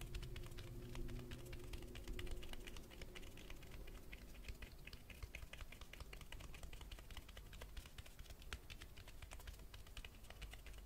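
Fingertips tap rapidly on the spine of a hardcover Berserk vol. 2 book held upright. The taps are soft, dull and very short, running in a quick, steady patter over a low background rumble for the whole clip at a quiet, even level.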